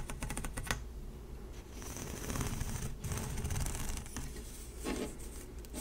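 A single light blue corrugated plastic pop tube, hollow, is held by fingertips and long nails and stretched and compressed close up. Its ridges pop and click in quick, uneven bursts over a low, dense rustle, with sharp bright clicks near the start and end.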